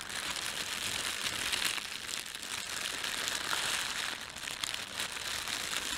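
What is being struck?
Thin plastic bread bag.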